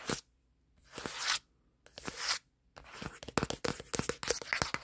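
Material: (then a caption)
Plastic. Fingertips tap and scratch quickly on the plastic back panel of a black smartphone held in one hand. Two drawn-out, bright scratching swells separated by silence give way to a fast, dense run of sharp, crisp taps mixed with scratching that continues to the end.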